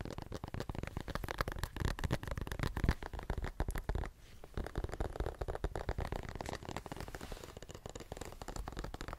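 Fingernails rapidly tap and scratch the spine and page edges of a paperback book with a glossy card cover. The sound is a dense run of quick, dull, low-heavy taps with short scratchy strokes. A brief lull comes just past the four-second mark before the tapping resumes slightly softer.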